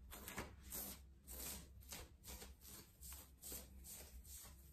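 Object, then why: Ribbed knit cotton shirt. Fingertips and nails scratch, rub and pinch a worn yellow ribbed knit cotton long-sleeve top at the chest and shoulders. The result is a series of soft, bright, rasping bursts of fabric texture over a steady low hum, with short pauses between strokes.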